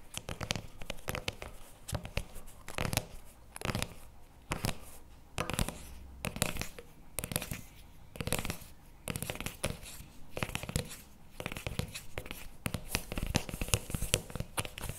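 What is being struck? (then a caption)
Paperboard tub with plastic lid. A CremaNovi paperboard chocolate spread tub with a plastic lid is gripped in both hands while fingertips and nails tap and scratch the lid and sides. Dense clusters of short, dry, crackly taps and scratchy rasps repeat throughout, each with a soft low thump and a bright papery edge that stops almost at once.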